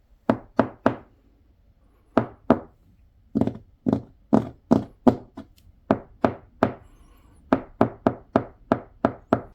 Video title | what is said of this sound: 외국인 관광객 이용해 골치거리 처리하는 일본 | 벽이 나무로 돼 있고 속이 텅 빈 듯한 소리가 납니다